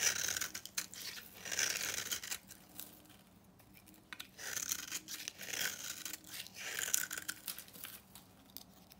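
A utility knife cuts and shaves a solid, dry orange bar of soap held in the hand, breaking off dry crumbs. Bright, crisp scraping and crunching strokes come in bursts separated by short quiet pauses, with almost no low end.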